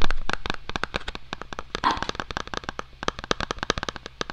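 Fingertips and short nails tap and scratch the flat face of a small, hollow white cardboard Apple-style product box held in both hands. The result is a quick, irregular run of crisp, dry clicks with a brief scratchy stretch near the middle, all over a steady low hum.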